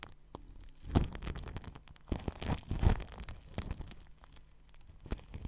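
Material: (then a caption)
Plastic film. A paintbrush brushes over plastic cling film wrapped around a ball microphone's grille. The result is crinkly, scratchy rustling over a dull low rumble, with strokes that swell louder near the first second and again between two and three seconds before settling into softer brushing.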